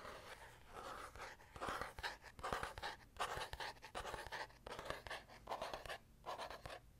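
Fingertips and nails scratch and tap the faux-leather hard cover and textured back of a small black notebook held upright. The result is quiet, dry scratching in short irregular bursts, mixed with light taps that fade quickly.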